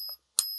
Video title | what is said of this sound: Silver stackers much watch this! 3 ways to test your silver. + GAW | into my ears it sounds pretty fantastic so it weighs good sounds good